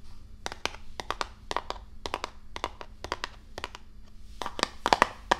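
A hollow, medium-size printed cardboard Risk board game box is held up and tapped and scratched with long nails, giving about two dozen sharp, bright, dry clicks at an irregular pace over a faint low hum. The taps grow louder and fuller near the end as the box is tilted toward the microphone.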